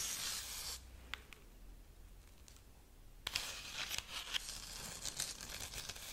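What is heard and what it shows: A tall decorative Easter rabbit woven from dried corn husks, with a hollow-looking body, is held upright and scratched along its husk strips with long painted nails. Bright, dry scratching and crinkling fill the opening, fall to a quieter stretch broken by a few sharp clicks, then return as a denser run of papery rasps with sharp peaks.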